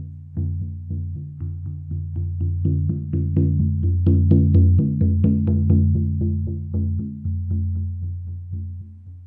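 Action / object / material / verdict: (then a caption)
strike / large frame drum with a synthetic head, struck with a felt mallet / synthetic membrane / none. A large hollow Remo Buffalo frame drum with a black synthetic head, held upright, is struck 16 times with a felt-tipped wooden mallet in a steady rhythm. Each strike gives a deep, booming, low-pitched tone that rings briefly and overlaps the next. The strikes swell louder toward the middle and then fade off.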